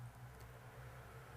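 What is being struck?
Nothing is struck.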